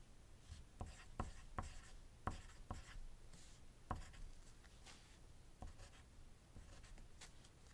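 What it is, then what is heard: Pencil writing on paper. A wooden graphite pencil writes on a thin white paper sheet resting on a desk, with dice lying untouched nearby. Soft, continuous scratching strokes are broken by several sharp, short ticks as the pencil lands and lifts. The sound is quiet and close, with a dull low thump under each stroke.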